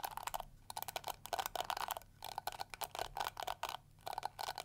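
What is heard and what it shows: Long acrylic nails scratch and strum the flexible plastic bristles of a small round pink-and-yellow flower-shaped plastic detangling brush held in both hands. The result is quick bursts of crisp, bright plastic ticking and flicking with a clicky midrange tone around 750 Hz, separated by brief quiet pauses.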